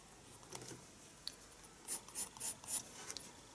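A pencil makes shading strokes across a page of a small spiral paper sketchbook resting on a desk. A series of quiet, bright, dry scratches comes in short bursts, with the strokes growing firmer and louder toward the end before trailing off.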